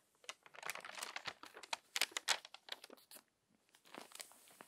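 A crumpled paper magazine lies open as a page is flipped and long-nailed hands smooth the crinkled paper. Quick, bright crinkling and crackling bursts come in an irregular stream, with a brief near-silent pause before softer rustling resumes.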